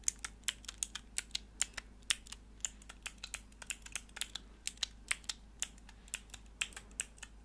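Long nails press and click the grey plastic keycaps on a small, hollow, clear plastic mechanical keyboard switch tester with four mechanical switches, held in the hands. About 33 quiet, crisp, bright clicks come in a quick, uneven typing-like rhythm. Each click stops dead, with almost no ring and very little low end.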